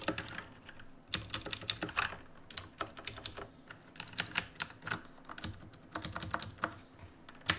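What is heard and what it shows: Fingertips tap the plastic keys of a black RGB plastic-and-metal mechanical keyboard while typing. The result is a steady stream of sharp, bright, clacky keystrokes with very short decay, arriving in quick irregular bursts after a brief pause near the start.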